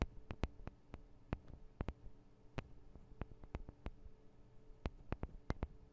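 Long acrylic nails tap and scratch on the two small cylindrical metal microphone capsules of a handheld Tascam DR-40 recorder. Quick, dry clicks with a bright edge come in an irregular series, each dying away almost at once over a soft, steady low hum.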